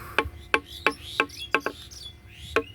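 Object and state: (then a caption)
Cured, dry precast concrete column, ringing. A cured, dried-out precast concrete H column lying on the ground is tapped seven times, each tap giving a sharp, bright ring around 1 kHz with high overtones that fades quickly. It gives this very ringing sound because curing is finished and no water remains in the concrete.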